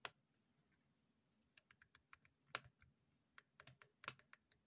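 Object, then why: Small plastic earbuds charging case. A small, dark grey, hollow plastic earbuds charging case is held in the hand and tapped with long painted fingernails. About fourteen sharp, bright plastic clicks come in an irregular, uneven rhythm, each dying away almost instantly. The taps are quiet, with a soft hiss between them.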